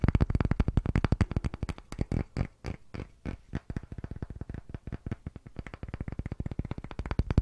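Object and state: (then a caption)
Pine wooden disc. Fingertips and short nails tap rapidly on the flat face of a palm-sized, solid, unfinished light pine disc held in both hands above the microphone. The result is around fifty quick, dull, low wooden knocks with almost no ring. They come in a dense flurry, thin out and soften briefly in the middle, then speed back up.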